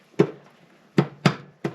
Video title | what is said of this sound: Suzuki DR350s hard to find neutral and jumping out of gear quick and easy fix | you kind of hear that double thump there. That means it's metal, it's in there, and that's where it needs to go